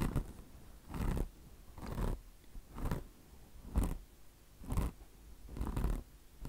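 Long blue nails scratch the coarse mesh top of a mesh-covered microfiber car wash sponge. Steady, rhythmic raspy strokes come about once per second, each a soft, scratchy burst with a low rumbling body and a brief fade between strokes.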